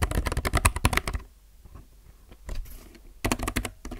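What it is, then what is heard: Mechanical keyboard with plastic keycaps. A low-profile mechanical keyboard with plastic keycaps is typed with fingertips, producing quick bursts of clacky keystrokes with a deep thocky body and crisp bright tops. A dense flurry of strokes in the first second gives way to a near-silent pause with faint soft taps, then a few scattered presses and a final short burst of typing.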